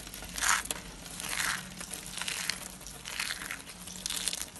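Dry white soap, shaved into a rolled rose of thin layers with loose white flakes, is crushed and crumbled between fingertips and palms. It gives bright, dry crunching and crinkling bursts that swell and fade in uneven waves, with short crisp snaps over a soft rustle.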